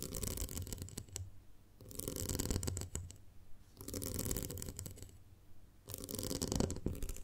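Long nails scratch and tap along the horizontal ridges on the sides of a small, round, ribbed clear glass jar full of honey. Dense, raspy bursts of scratching with quick bright clicks come in about four waves, separated by quieter pauses, over a low, full rumble.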